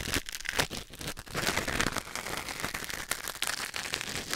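A thin wooden or bamboo ear pick, held in the fingers, scratches and scrapes inside the canal of a white silicone ear mounted on a black binaural microphone. The result is a close, continuous rustling and crinkling with bright, crackly scrapes that rise and fall in quick bursts.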